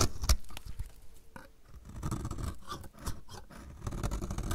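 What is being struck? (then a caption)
Bar of soap scraped with a blade. A utility knife blade scrapes a solid, dry, purple-striped bar of soap held in the hand, with shavings piling up. Quiet, dry, irregular scraping strokes come in quick succession, each a short rasp with a low, dull body and brief crisp edges, with almost no ring after each stroke.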